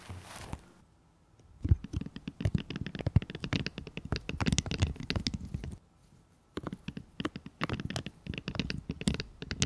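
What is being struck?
Raw broccoli crown.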